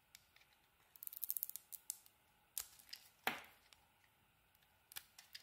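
A utility knife blade carves curls off a solid pink bar of soap with a purple edge. Quiet, crisp, bright scraping ticks come in a quick flurry, followed by a few separate cuts and one louder, longer shaving scrape near the middle. Each cut stops dry with almost no ring.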